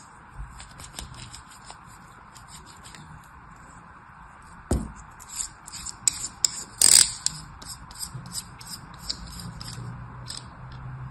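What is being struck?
Kinetic sand in a plastic mold, cut with a steel knife.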